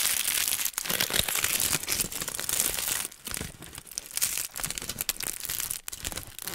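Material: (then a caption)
Aluminium foil. A thin sheet of aluminium foil, crumpled into a hollow, loose wad, is crinkled and rubbed with fingertips, partly pressed over the mic grille and partly held in the hand. Dense, bright crackling and crinkling rises and falls in irregular bursts, with quieter, sparser rustles around the middle and a brief drop near the end.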